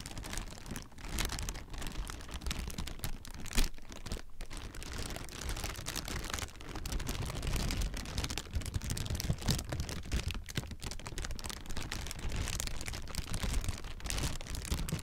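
Clear, thin plastic air-pillow packing, partly deflated, is crumpled and squeezed with both hands. It makes a steady stream of dense crinkling and crackling over a heavy low rumble, with occasional louder crunches.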